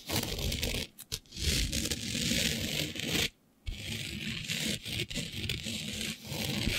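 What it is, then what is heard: Glitter-coated fabric being scratched. Long nails scratch and scrape across a flat sheet of black fabric covered in fine green glitter. The result is a steady, bright, gritty rasp with a low rumble underneath. It stops briefly a few times, with a longer silent gap near the middle, before the scraping resumes.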